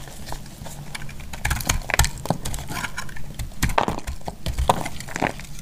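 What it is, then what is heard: Semi-dry bar soap being cut. A hand-sized, semi-dry white bar soap, held in a hand with long dark nails, is cut and shaved with a utility knife blade, crumbling into flakes. Repeated dry, crisp scrapes and short crackling snaps come over a low, muffled rumble, with several louder cuts standing out.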